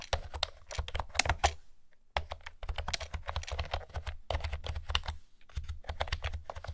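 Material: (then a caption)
Plastic. Long-nailed fingertips type on a light blue plastic retro keyboard with pastel round keycaps and a hollow housing. Quick, dry key taps clatter brightly over a low, hollow thump, with a brief pause about two seconds in before the typing resumes in steady bursts.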